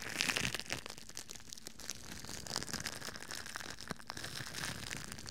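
A thin, crinkly red plastic bag, hollow and loosely bunched, is held in both hands in front of a microphone and crumpled and scrunched with the fingers and palms. It makes dense, bright crackling and crinkling, with quick sharp snaps over a steady rustle that fades almost instantly.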